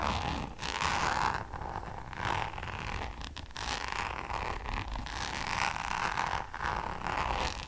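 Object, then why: Coated canvas zip pouch. Long nails scratch and tap a hollow, flat Louis Vuitton coated-canvas designer zip pouch close to the mic. The result is a steady, dry rasping texture with a midrange scratchy tone and bright hiss, broken by soft taps and brief dips between strokes.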